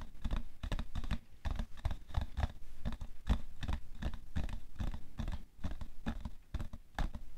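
Fingernails quickly tap the side of a hollow, printed cardboard tissue box full of tissues, resting on white fur. The rapid, irregular bursts of taps sound dull and low with a faint papery edge. Each tap stops dead with no ring.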